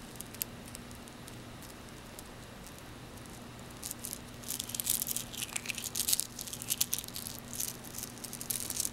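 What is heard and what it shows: A frosted white and blue glass bead bracelet is held in both hands while the beads are rubbed and pinched between fingertips and nails, clicking together. Over a steady low hum, the first four seconds have only faint, sparse ticks. Then dense, bright clicks and rattles build in quick, uneven bursts until the end.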